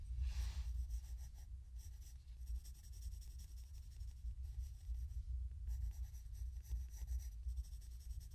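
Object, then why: Graphite pencil on a paper sketchbook page. A graphite pencil shades and draws a portrait in progress on a spiral-bound paper sketchbook page lying flat on a wooden table. Soft bursts of bright scratching and rubbing come and go across the clip over a steady low hum.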